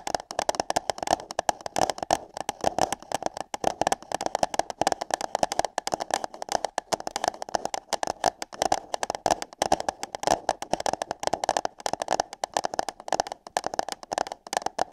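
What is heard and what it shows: Long nails tap and scratch on hollow paper cups placed over the ears of a microphone, making a dense, continuous stream of quick, dry clicks and crackly scratches. The taps carry a hollow, papery tone centred around 740 Hz, with bright crackle on top and almost no low end. The rhythm stays busy but uneven for the whole stretch.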